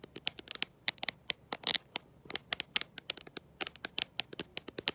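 A black smartphone with a glossy glass back and no case, held in one hand, is tapped and scratched by long nails fitted with gold metal paperclips. About thirty quick, bright clicks and short scrapes come in an irregular, pattering rhythm, each dying away almost instantly, with a slightly longer scratch near the middle.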